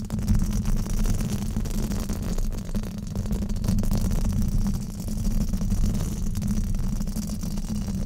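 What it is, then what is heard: Foam microphone windscreen being scratched. A black foam windscreen on a microphone is scratched with fingertips and nails in a steady rubbing motion. This makes a continuous, dense, low rumbling scrape with almost no high end, holding a fairly even loudness throughout.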